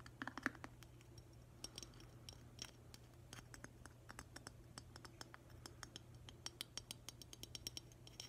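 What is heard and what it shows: Fingernails tap and scratch the body and base of a hollow, glossy glazed green ceramic octopus vase with a black rubber stopper in its base. Quick, dry clicks and bright scratches come in dense, uneven bursts over a faint steady low hum.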